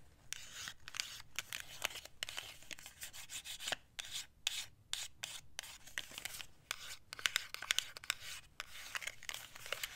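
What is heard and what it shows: Long acrylic nails scratch and rub the surfaces of a small, square, black and white printed cardboard compact box held in the hands. The result is bursts of dry, high-pitched rasping and scraping with short pauses between strokes.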